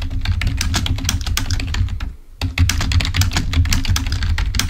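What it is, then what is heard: Plastic computer keyboard. Fingertips of both hands type rapidly on a full-size black plastic Microsoft keyboard resting on a table. The result is a dense run of clicky key taps over a deep thudding body, with a brief pause near the middle before the typing resumes.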